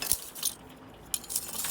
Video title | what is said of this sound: Grandads Allotment Making BioChar at Home | Sounds like glass when it's done.